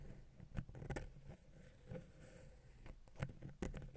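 A wooden ear pick taps and scratches the side of the small, hollow, silver metal XY stereo capsule on a Zoom H6 recorder. Soft, close, muffled taps with a low, dull thump stand out over a steady scratchy rustle. Each tap dies away almost at once.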